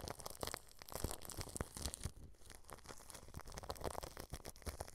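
Paintbrush bristles press and brush against clear plastic cling film wrapped over a microphone grille. The result is a steady stream of close, crackling crinkles and soft scratchy sweeps, with deep low thumps mixed through the dry, bright rustle.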